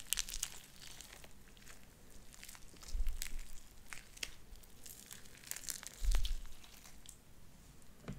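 Light-blue sticky slime with white beads is squeezed in the hand and pulled apart into strands, giving a steady stream of bright, crinkly pops and sticky crackles. Two louder, low squelching pushes stand out near the three- and six-second marks.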